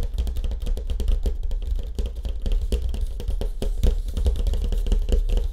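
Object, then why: Surfboard with wood-grain finish. Fast fingertip tapping on the surface of a surfboard with a wood grain finish. The rapid, continuous taps land as dull, low thuds with almost no ring, so they blur into a steady drumming patter.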